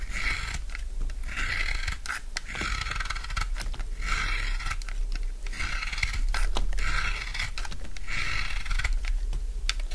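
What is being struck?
Soap bar carved with a steel blade.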